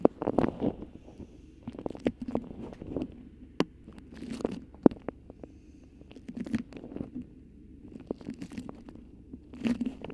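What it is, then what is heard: Beeswax-coated cotton food wrap. A thin, stiff yellow beeswax-coated cotton food wrap with a cardinal-bird print and pinked edges, wrapped over a microphone, is crinkled and scratched with long nails. Irregular bursts of close, papery crunching and scratching rise and fall, broken by sharp clicks and brief quiet gaps. The sound sits mostly in a soft low-mid range with occasional bright crackles.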